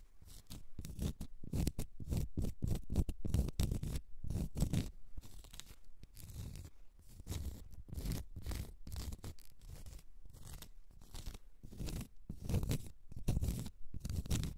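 Long red nails scratch a small, solid, round cork stopper in quick, irregular strokes. The result is a dense, dry rasping with a dull, low, close-up texture, rising and falling in loudness with little ring after each stroke.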